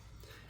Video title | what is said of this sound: Dump Pouches-not as good as you think | when I shake or do anything the magazines will click together